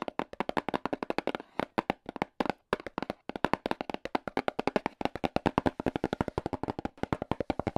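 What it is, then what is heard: Hollow cardboard box. AA battery tips worn on the fingers tap rapidly on a small, hollow, black printed cardboard box. They make 66 short, dry, hollow taps with no ring, mostly in quick runs broken by a few brief pauses.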